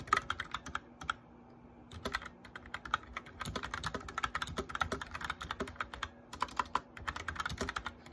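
A white backlit plastic mechanical keyboard is typed on quickly, with both hands tapping the keycaps with their fingertips. Dense bursts of sharp, bright clicks and clacks run in irregular flurries, broken by brief pauses near the one- and six-second marks. A faint steady low hum sits underneath.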